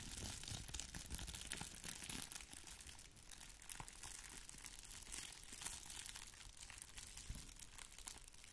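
A small, flat red plastic bubble-wrap envelope is held up while long nails scratch it and fingers crinkle it. The result is a quiet, steady stream of bright, crackling crinkles and scratches with soft low rustling underneath, running continuously through the clip.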